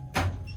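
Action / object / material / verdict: strike / rock cave floor / rock / hollow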